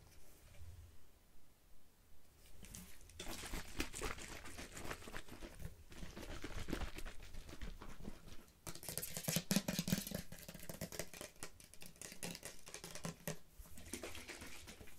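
A teal plastic Sally Hansen moisturising polish remover bottle, about 20 cm tall, hollow and apparently holding liquid, is held in the hands and tapped and scratched with long painted fingernails. The result is fast, irregular clicky taps mixed with crinkly, broadband scratching bursts over a soft low thump, with short quiet gaps between flurries.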